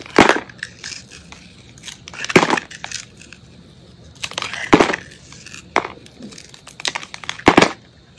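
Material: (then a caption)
Soap. A metal utility blade shaves and scrapes the surface of a solid white soap bar with remnants of blue glitter, held in hand. Dry, crunchy scraping bursts with a bright, crisp edge come in uneven strokes separated by quiet pauses, each stroke ending quickly with almost no ring.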